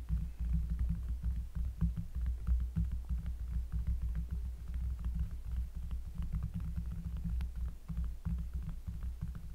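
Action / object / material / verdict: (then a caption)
tap / cork surface / cork / none. Fingers tap quickly and unevenly on a cork surface, close up. Each tap is a soft, deep, bassy thud with a short ring, and the taps run together into a steady low throbbing with faint brighter clicks on top.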